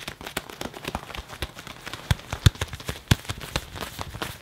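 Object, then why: Leather jacket sleeve. A hand grips, squeezes and rubs the sleeve of a worn black leather (possibly faux leather) jacket near the cuff, crumpling the soft leather. It gives a quick series of short, dry creaks and crinkles that are mostly low and thumpy with some bright crackle. A few louder squeaks stand out around the middle of the clip.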